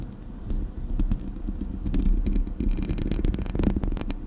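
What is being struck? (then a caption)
Metal mesh microphone grille. Fingertips and nails scratch the hollow metal mesh grille of a Blue Yeti microphone. The result is a dense, continuous rumbling scrape with a strong low hum around 200 Hz, dotted with sharp, bright clicks and ticks as the nails catch the mesh.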